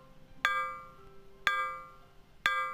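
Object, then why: Aluminum board. An aluminum board is struck three times with an impulse hammer while the voltage range is being set for an Ono Sokki DS-3000 hammering test, keeping the input from exceeding the range. Each strike gives a bright metallic ding centered around 1.6 kHz, with several high overtones that ring out and fade over roughly a quarter second.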